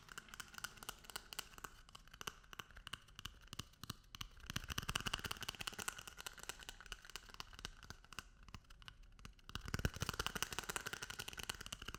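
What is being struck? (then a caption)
Paper toilet roll. A paper toilet roll is tapped and rubbed. This produces a dense run of quick, dry papery taps and crinkling scratches with a bright, rustling texture. The sound is quiet at first, grows louder around the middle, dips, and then rises again near the end.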